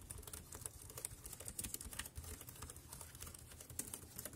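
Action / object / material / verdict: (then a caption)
tap / plastic wireless keyboard / plastic / none. Fingertips press the round keys of a compact dark grey plastic wireless Bluetooth keyboard with a hollow body, resting on a black plastic bag, at a slower pace. The quiet typing is a steady run of short, dry clicks with bright high tops over a soft low thump, each tap dying away almost at once.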